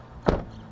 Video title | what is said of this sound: BIGGER IS BETTER! 2024 Toyota Grand Highlander Review | Il rumore della porta che si chiude dall'esterno.